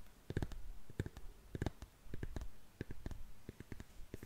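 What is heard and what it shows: Long nails tap and scratch the shiny heel and counter of a single black glossy patent leather high-heel shoe. Quiet, dull, short clicks come in irregular clusters, each dying away almost at once. Their weight sits low, with a faint thin scratch between the taps.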